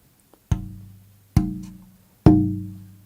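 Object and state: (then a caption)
Tap tone of a braced wooden guitar top. A braced wooden soundboard for a Selmer-style guitar is tap-tested after brace shaping; how the top is held changes its tap tone. A faint tick is followed by three distinct knocks. Each knock has a warm, low, woody resonance around 300 Hz with a strong low-end body that rings and fades over most of a second.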